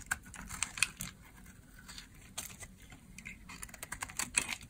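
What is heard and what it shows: A hand-sized solid green bar of dry soap, held in the hand, is shaved with a box-cutter blade, with the curls falling onto a pile of soap bars. A quick series of short, crisp, crunchy carving and scraping sounds comes through, bright and dry with a high hiss and almost no low end. Each scrape cuts off instantly with no ring.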